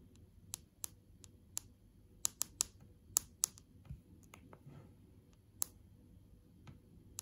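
Long acrylic nails tap on the glass touchscreen of an iPad lying flat on its lock screen, making 11 sharp, bright clicks with no ring at all. The taps are spaced unevenly over a faint low background hum.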